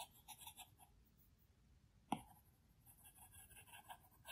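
A plastic Apple Pencil tip makes fast, repeated hatching strokes and taps on the large, flat glass screen of an iPad Pro. Quiet bursts of light, bright scratchy ticks come in clusters, broken by one sharper, louder tap near the middle. The strokes then resume at a soft level.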